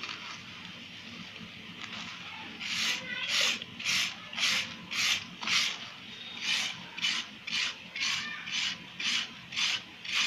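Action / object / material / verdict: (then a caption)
scrape / sand-cement block / sand-cement / none. A red-handled wire-loop tool drags through a solid, crumbly sand-cement block, carving ridged channels as the powdery material shaves away. After a quiet opening, a steady run of bright, dry rasping strokes follows at a regular pace, each a short scraping burst with a quick fade and almost no low end.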